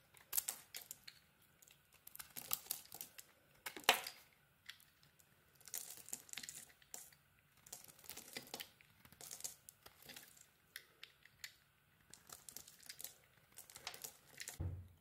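A solid cream bar of soap with remnants of a lilac outer layer, held in the hand, is scraped with a small metal blade so that flakes curl off. Quiet, bright, crisp scraping crackles come in short bursts separated by brief pauses throughout, ending with a dull low thump.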